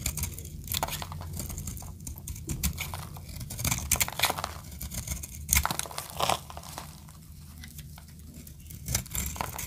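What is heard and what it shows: A metal utility blade carves a solid blue oval bar of dry soap held in the palm into brittle flakes. The cuts make a continuous run of dry, crackly scraping and crunching with bright, papery edges over a steady low rumble. Several sharper, louder crunches stand out as pieces break away.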